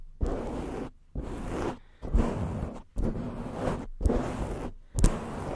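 Long fingernails of both hands scratch and rub directly on the black foam cover of an upright microphone. Six bursts of dense, low, muffled rasping rustle are separated by brief silences. The scratching sounds close and boomy, with little brightness.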